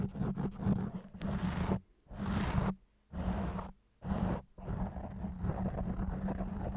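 Fingertips and nails scratch and rub fast across a round, soft, porous black foam windscreen on a microphone. The sound is a heavy, low, roaring scrape with a faint steady low tone underneath, broken into short bursts by brief silences. It then runs on as continuous rough scratching to the end.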